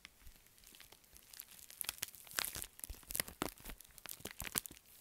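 A pink metallic foil bubble mailer is twisted and crushed in the fists, then held flat and rubbed. It gives dense, bright crinkling and crunching with sharp crackles and short tearing-like bursts that rise and fall in loudness, over a quiet background.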